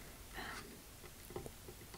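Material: Nothing is struck.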